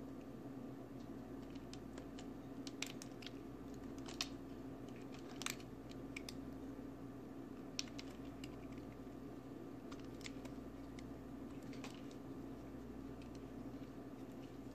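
A utility knife blade scrapes and carves chunky pieces from the edge of a solid orange bar of soap held in the hand, making quiet, crumbly cutting strokes with short, bright crunches over a steady low hum. Flakes drop onto the tray below.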